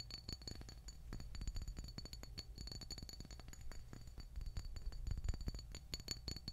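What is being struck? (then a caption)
Small glass bottle of hair oil. A small dark glass bottle of black castor hair oil with a paper label, likely full, is held up and tapped rapidly with long nails. The result is a quiet, steady stream of short, clinking glass taps with a bright ring over a low thud.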